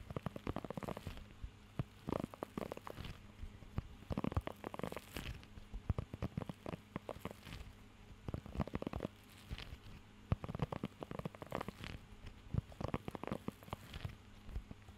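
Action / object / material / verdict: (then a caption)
scrape / rubber pet grooming glove with raised nubs / rubber / none. Fingertips scratch and tap across the raised nubs of a blue rubber pet hair grooming glove held close to the microphone. Dense bursts of soft, dry scratching and quick taps come in clusters, mostly low and muffled with little brightness and no ring. A faint steady low hum sits underneath throughout.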